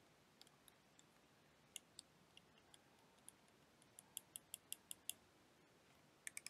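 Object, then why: Clear plastic liquid motion timer. A clear plastic liquid motion timer toy filled with blue liquid is held and tapped with long dark-painted nails. About 18 quiet, sharp, bright clicks come at an uneven pace over a soft hiss, bunching into a quicker run near the middle and again at the end.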